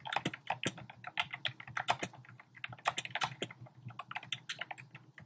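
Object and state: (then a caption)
Plastic keyboard keys being typed on. Fingertips with short painted nails type rapidly on a compact keyboard with a black plastic frame and round pink, orange and cream plastic keycaps, sitting on a desk. Quick, bright plastic clicks and taps run in an uneven, continuous stream, each one short and dry with almost no ring.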